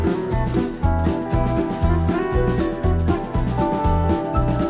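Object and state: Nothing is struck.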